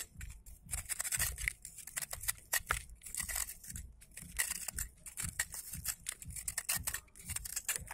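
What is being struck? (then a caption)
Pressed sand block. A utility knife blade shaves and scrapes the surface of a large, thick, solid hand-held block of pressed dry red sand held over a bowl of loose sand. Rapid, uneven bursts of bright, gritty scraping crunch come one after another with short gaps and a dull low rumble underneath, as crumbs fall away.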